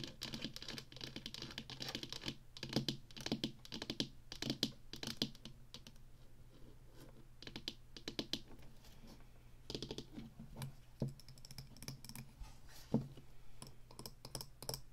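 Long fingernails rapidly tap and scratch the sides and face of a small, square, hollow black plastic Atari joystick base with a red button, then the joystick is tilted in the hand. The sound is a dense run of quick, dry, bright plastic clicks and scratches with a hollow body. It thins out into sparser, quieter taps partway through.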